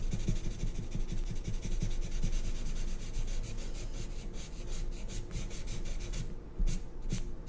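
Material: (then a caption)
Paper. A black marker tip scratches and rubs across white drawing paper on a clipboard, filling in a curved shape with continuous strokes. The sound is a steady, close, papery rasp, with repeated short stroke pulses and a brief louder scrape near the end.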